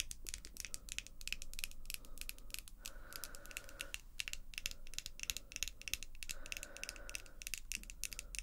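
Long glossy acrylic false nails tap their tips against the nails of the other hand, close up. Rapid, dense, bright little clicks with almost no ring patter continuously over a quiet low rumble, with a couple of brief smoother stretches in between.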